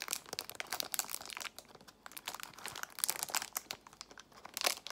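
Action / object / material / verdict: scrape / small plastic box in cellophane wrapper / cellophane / none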